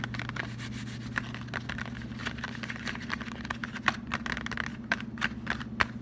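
Fingertips and short nails rub and scratch across the surface of a closed, flat cardboard Lindt white chocolate box held in both hands. Dry, papery scratching comes in quick strokes, with sharp, bright ticks rising above it, over a steady low hum.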